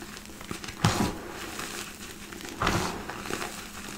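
Two hands dig into a large mound of loose, crushed white gym chalk in a black bowl, squeezing and rubbing handfuls with fingertips and palms. Soft, dry crumbling and crinkling runs throughout, with two louder, broader crunches standing out early and midway through the clip.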